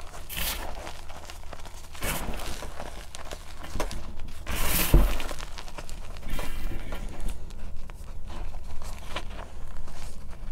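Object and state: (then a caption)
Powdered gym chalk raked in a metal bowl. Hands rake, grab and rub loose pale blue-green powdered gym chalk in a large metal bowl with their fingertips and nails. The result is a continuous soft crunching, crinkling and scratching texture with bright, airy bursts, the loudest swells near the start, around two seconds and just before five seconds, over a steady low hum.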